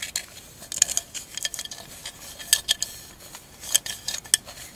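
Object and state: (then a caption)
Mosaic glass candle holder. Long acrylic nails tap and scratch across the glass mosaic tiles of a tall, hollow, empty candle holder held on its side. A quick, uneven string of bright clicks and sharp ticks mixes with thin scratchy rasps. The sound is almost entirely high with no low body, and each tap dies away at once.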